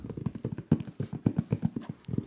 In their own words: It is an Xbox controller container. Okay, that one's a little specific, but maybe the hints got you there.